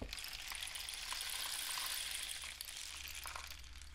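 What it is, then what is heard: Cardboard rain stick. A painted cardboard rain stick with a dark end cap is tilted and tapped with the fingertips. It gives a steady, bright, hissing trickle with faint light clicks and a low hum underneath. The sound eases slightly in the second half.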